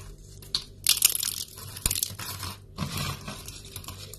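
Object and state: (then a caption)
Dry, brittle soap shavings. Thin, brittle strips of dry yellow soap shavings are snapped and crumbled in both hands over a pile of flakes. Bright, dry crunching and crackling come in bursts, loudest around one second, with a sharp snap near two seconds and softer crumbling after.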